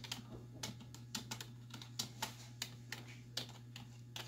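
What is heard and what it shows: Fingertips and long nail tips type on a black plastic desktop keyboard with hollow keys, producing a quick, uneven run of bright, sharp clicks and clacks. Each keystroke dies away almost at once over a steady low hum.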